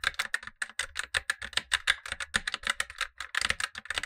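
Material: Plastic.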